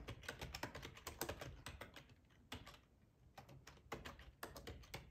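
Fingertips of both hands type on a black plastic, full-size ergonomic split keyboard resting on a cloth tablecloth. Quick, dull key clicks come in uneven bursts with short pauses, and each tap dies away almost at once.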